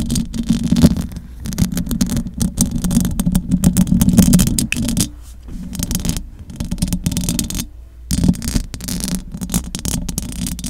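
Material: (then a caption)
Metal mesh. Long acrylic nails scratch the metal mesh grille of a large silver condenser microphone. Dense, rapid scraping and rattling comes through as a heavy low rumble with a faint bright hiss. The scratching runs almost continuously, easing briefly around the fifth and eighth seconds before picking up again.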